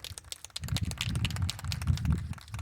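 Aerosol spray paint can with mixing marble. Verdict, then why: Loose. A rattle can of primer paint with a loose mixing marble inside is shaken hard, with the aim of making the marble dent the can's bottom. After a quieter start, a dense, rapid metallic rattling and clacking builds as the marble moves freely, showing the paint is being mixed properly.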